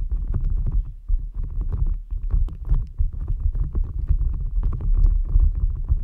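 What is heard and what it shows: A green rubber gel-bead squishy stress ball resting on top of a microphone is squeezed and rubbed with fingertips and nails. It makes a dense, continuous stream of soft squelches and quick crackling pops over a deep, muffled low rumble.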